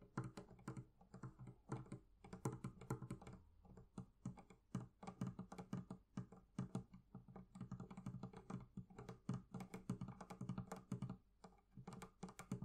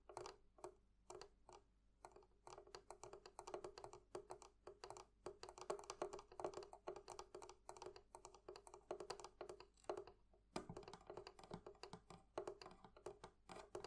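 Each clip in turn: First: Quick, soft fingertip taps on leather over a barrel chest: low, padded thuds that die at once. Second: Rapid, close fingernail taps on small metal fittings give quick clicky ticks with barely any ring.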